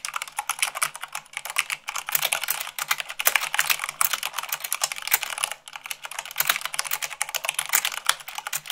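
Fingertips with long acrylic nails type fast, at about 98 words per minute, on a full-size mechanical keyboard with white plastic keycaps on a black base. A steady, bright clatter of short, dry, clicky key taps runs throughout with almost no low end, easing briefly in a few short pauses before the rapid typing resumes.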